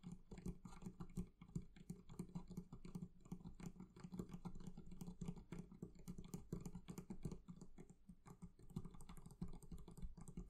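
Fingers tap quickly and steadily on the leather covering of a barrel chest. The result is a continuous patter of soft, dull, low thuds that stop almost instantly, with little brightness above them.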